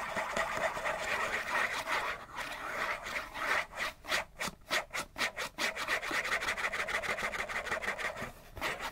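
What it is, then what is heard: Cardboard tissue box scratched. A hollow printed-cardboard Kleenex tissue box, held in both hands, is scratched fast and hard with fingernails. The result is a dense run of dry, bright, papery scratching strokes centered around 1.9 kHz with almost no low end. The middle stretch slows into distinct, separate swipes before the scratching speeds up again.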